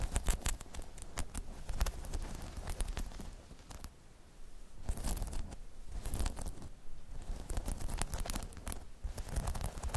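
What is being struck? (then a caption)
Spiky rubber balance pod. Long chrome nails scratch and tap the spikes of a hollow, spiky rubber half-dome balance pod. The result is a dense run of quick, dry clicks and scratchy rustling over a low, thumpy body. The activity eases briefly around the middle before picking up again.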